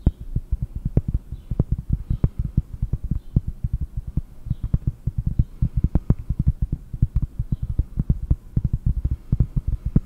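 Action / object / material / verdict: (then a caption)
tap / flat cork disc / cork / none. A round, flat, solid cork disc about 20 cm across is held close to the microphone and tapped with long painted nails and fingertips. Dozens of quick, dull, low knocks come in an uneven, steady stream, each dying almost instantly with no ring, over a faint low hum.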